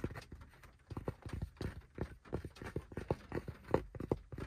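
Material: Fabric.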